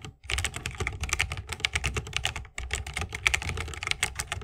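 Fingertips of both hands type fast on a 60% mechanical keyboard with plastic keycaps on tactile Holy Panda switches, set in a solid bamboo wooden case with RGB lighting and resting on a wrist rest. A dense run of bright, clacky keystrokes with a low thock underneath pauses briefly near the start and again midway.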